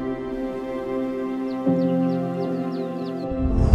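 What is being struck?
Nothing is struck.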